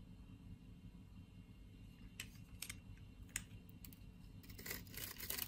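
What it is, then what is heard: Bar soap scraped with a blade. A utility knife blade scrapes scored flakes off a solid brown bar of soap held in the hand. Short, crisp, bright scraping ticks sound over a steady low background rumble, growing denser and louder toward the end.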